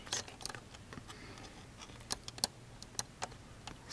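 Long fingernails tap and scratch across the body of a hollow blue, orange and grey plastic toy dart blaster, which is tied with clear ties to a cardboard display card with foam darts beside it. Irregular, sharp, bright clicks sound over a faint, steady hiss; each tap dies away almost instantly.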